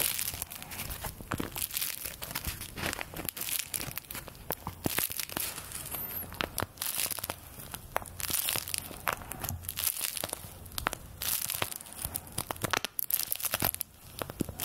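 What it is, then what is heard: Paper play money. A stack of thin paper play-money bills is held in both hands and bent and crinkled with fingertips and long nails. It makes dense, continuous crinkling full of sharp, bright crackles that die away almost instantly, with a faint steady low hum underneath.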